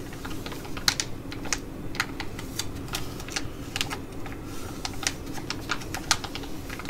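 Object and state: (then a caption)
Plastic sheet mask pouch. A flat, filled Skin&Lab ticket-shaped laminated plastic sheet mask pouch is held and tapped and scratched with long nails. Quick, bright clicking taps with sharper peaks stand out over a steady low hum and soft scratchy rustle.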